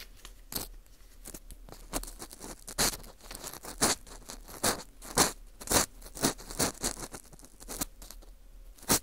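An orange plastic earpick scrapes the inner hole of a porous dried wheat gluten ring (fu) held in gloved hands. It makes a series of bright, crisp scratching and crunching strokes at an uneven pace, with short quiet gaps between them.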